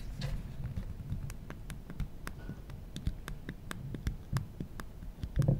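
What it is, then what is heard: Smartphone handled and tapped. Fingertips rub across the glass screen of an original iPhone, a small, solid glass and aluminum smartphone held in the hand, then tap and click its aluminum side buttons. Soft, low rubbing runs underneath a scattered series of short, sharp clicks with a bright edge, and a few louder clicks come near the end.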